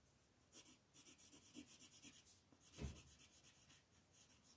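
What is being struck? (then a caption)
Paper sheet on a table rubbed with a colored pencil. A green wooden colored pencil held in the fingers shades a thin sheet of printed mandala paper lying flat on a table, its lead tip rubbing back and forth. Quiet, bright, scratchy strokes repeat in a steady rhythm, with a heavier stroke near the middle adding a soft low thud. The rubbing continues almost without pause.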